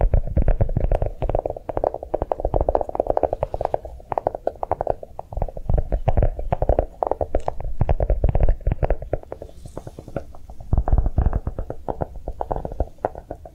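A notebook made to look like a bar of chocolate is tapped quickly with a steady stream of soft, dense taps. Each tap is a short, dull thud with most of its weight low and a muted midrange knock, dying away almost at once with no bright edge.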